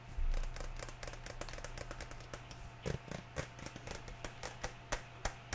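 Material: Plastic.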